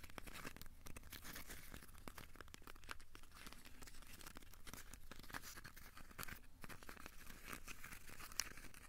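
A small, solid, crumpled ball of aluminium foil is squeezed and scratched with the fingertips. The result is a quiet, steady stream of dense crinkling and crackling with bright, sharp ticks over a soft low rumble.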